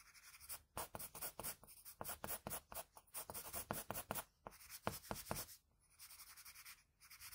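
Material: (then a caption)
Paper. A graphite pencil scratches short hatching strokes across a sheet of drawing paper at the neck and hair edge of a drawing. It makes a quick, steady run of dry, bright scratches with brief pauses between bursts. After a short gap near the end, the strokes turn softer and quieter.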